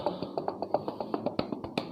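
A new KYT TT Course motorcycle helmet shell is knocked repeatedly for comparison with a cheaper helmet. Fifteen short, dry taps follow in quick succession. Each knock is centered around 600 Hz and dies away almost instantly.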